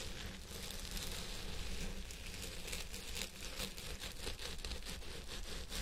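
Fingertips and nails of both hands scratch the fibers on both sides of a purple synthetic wig resting on a head form. The result is a steady, dense scratching and crinkling rustle with a bright hiss, over a low rumble.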